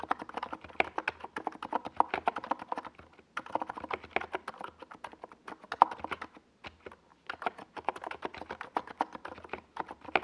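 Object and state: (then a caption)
Plastic mechanical keyboard. A NiZ Plum Atom 68, a compact 68-key mechanical keyboard with a hollow white plastic case and purple and yellow plastic Domikey Gas Attack SA keycaps, sits on a desk pad while both hands type on it with fingertips. A rapid, steady stream of short, hollow, clacky keystrokes centers in the midrange, with brief pauses near 3.3 and 6.7 seconds.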